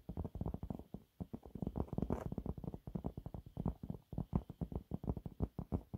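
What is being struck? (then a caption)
Cellulose sponge cloth scratched with fingernails. Fingernails claw and scratch quickly across a thin, flat, yellow textured cellulose sponge cloth. The result is a rapid run of short, dull, muffled scratches, mostly low in tone with almost no bright edge, and each one dies away almost immediately.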